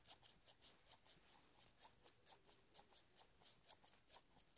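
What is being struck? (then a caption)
Steel scissors. Large steel scissors with black handles are held open in both hands while fingertips rub and rasp along the long metal blades. A quiet run of short, bright, scratchy strokes repeats at a loose, uneven pace, with very little low end and no ringing after each stroke.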